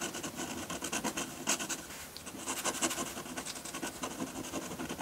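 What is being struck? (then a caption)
Metal dip pen nib on paper sheet. A metal dip pen nib on a wooden holder scratches ink strokes onto a flat sheet of white drawing paper. Quick, bright, scratchy strokes follow one another almost continuously at a low level, with a few slightly louder strokes along the way.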